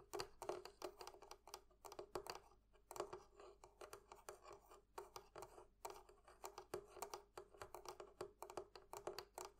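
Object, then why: Metal fittings on a wooden barrel chest. Fingers tap on the metal fittings of a barrel chest in a quick, uneven series of light, dry clicks. Each tap has a faint ring around 400 Hz that dies away almost at once, with brief pauses between bursts.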